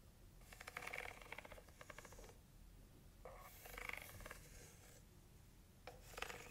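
Long nails scratch and rub across the white inner surface and walls of an empty, open heart-shaped cardboard box base. Bursts of dry, rasping, rhythmic scraping come in three separate passes, with quiet gaps between them.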